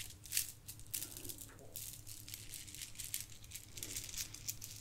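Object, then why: Plastic bead garland. A pile of gold plastic bead garland is poured and rolled between cupped palms and shaken near the microphone. The beads rattle in quick, bright, crinkly bursts over a steady low hum.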